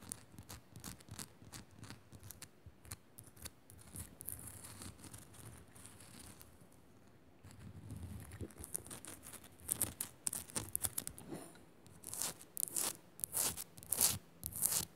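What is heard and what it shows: Long nails scratch fast across the rough surface of a solid, hand-sized pink Himalayan rock-salt lamp, making quiet, dry, bright scraping bursts. Sharper, louder taps and scratches come through near the end, each cutting off almost instantly.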